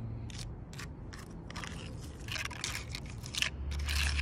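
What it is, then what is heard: Fingernails tapping and scratching tree bark. Long purple nails tap and scratch the rough bark of a large, solid log. Bright, crackly scrapes and taps come in quick, uneven bursts over a steady low hum, growing slightly louder toward the end.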